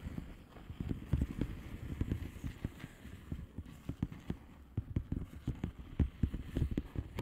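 Long nails tap the bubbles of a flat blue plastic bubble wrap envelope with both hands. The result is a rapid, uneven stream of soft, dull, low taps that die away almost instantly, with no bright edge.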